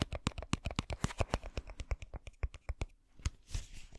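Fingernails scratch and tap the sides and white cap of a clear plastic bottle full of blue water beads. About two dozen quick, dry taps and scrapes come in an uneven rhythm, each with a low thump and a bright click that dies away almost at once. The tapping thins out near the end and gives way to a soft, hissy scratch.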